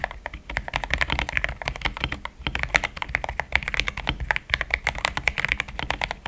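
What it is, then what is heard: Mechanical keyboard with plastic keycaps. Fingertips type fast on a compact pink-cased mechanical keyboard fitted with thick cream XDA plastic keycaps, which sound solid. A rapid, steady stream of short, crisp clacks rings bright around 2 kHz, each stopping almost instantly, over a faint low hum.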